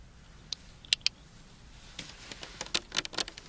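Long dark-painted nails tap and scratch along the ridged sides of a clear PET plastic drinking bottle of about 500 ml with a green cap, partly filled with water and held in both hands. A few sharp, bright clicks stand apart over a quiet hiss, then a quicker run of ticks and short scratchy strokes follows. Each sound is crisp and high, with almost no low end and no ring.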